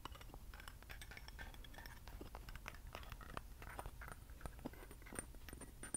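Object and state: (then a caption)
Metal candle holder, named. A small hollow metal acorn candle holder with a lattice pattern, held in both hands, is scratched and tapped with fingernails. The result is a quiet, steady stream of brief, bright clicks and tinny scratches over a soft low rumble, with a few sharper taps standing out near the end.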